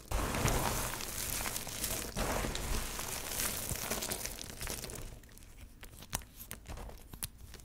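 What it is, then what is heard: Pile of dry soap shavings being crumbled. Fingers grab, squeeze and crumble a heap of small, multicolored, dry soap shavings and chips, making a steady, dense crunching and crinkling for about five seconds. The hands then rest and press flat on the pile, and the sound thins to quieter, scattered crackles with a few sharp, bright ticks.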